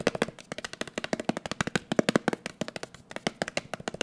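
A closed, round blue metal Nivea cream tin, held in the hand, is tapped quickly with the fingertips. About thirty rapid, dry taps come in an uneven, drumming rhythm, each with a hollow, low-mid knock around 230 Hz and a bright click. The tin barely rings, so every tap dies away almost at once.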